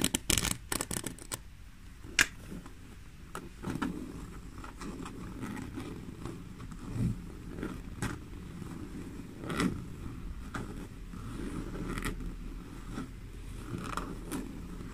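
Long nails scratch and tap the top and sides of a small, hollow black leather crossbody bag with a zipper, resting on a table. A quick cluster of sharp taps opens the clip, followed by soft, dry scraping and scattered clicks with short, bright transients over a low rumble.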